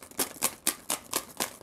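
A cardboard tube with more rocks added inside is shaken with a hand covering its top. It makes a steady series of bright, crisp rattling bursts, each rock-swish cutting off quickly. With the extra rocks, the rattle sounds louder and is judged a good sound.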